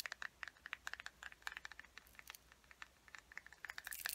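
Long nails tap and scratch along the top edge of an upright, hollow, closed teal plastic case. About 25 quick, dry clicks come in an uneven patter, each ringing a bright hollow tone near 1.8 kHz that dies almost instantly. Soft scratchy rustles fill the gaps, and the whole clip is quiet.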